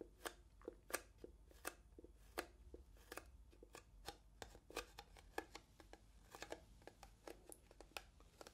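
Long nails tap and scratch a small, transparent, hollow plastic box that appears empty, placed between two microphones. The result is a quiet, irregular series of sharp, dry clicks with bright, hollow plastic ticks around 555 Hz, each dying away almost at once, with soft scratching between them.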